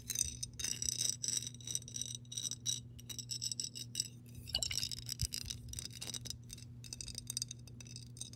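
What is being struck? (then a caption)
Glass jar with water. Long pink nails tap and scratch the side and base of a clear embossed glass mason jar that is hollow and partly filled with water. Rapid, bright, short-lived clinks and scratchy taps come in dense clusters over a steady low hum.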